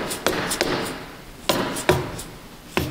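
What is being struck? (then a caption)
Steel differential carrier with ring gear in a cast iron axle housing. A large solid steel differential carrier with ring gear, seated in a cast iron axle housing during an ARB Air Locker install, is held by one hand and struck five times with an orange dead-blow mallet to seat the carrier. Each tap is a dull, fairly soft knock with a brief metallic ring around 370 Hz that fades within a fraction of a second, with uneven gaps between hits.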